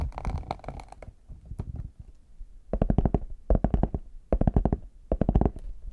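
Fingertips tap on the embossed lid of a small, hollow, brown faux leather hard case, then the case is held in both hands while nails tap its smooth back. The result is rapid bursts of dull, hollow, low-pitched knocks, with quieter, scattered taps early on and louder, tighter clusters later.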